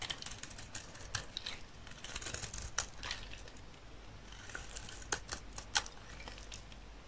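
A solid rectangular bar of dry olive-green soap, held in the hand, is shaved with a utility knife blade. Quiet, crisp scraping and crackling strokes come in uneven bursts, with a few sharper, brighter snaps standing out over a faint steady low hum. Each stroke stops dry with almost no ring.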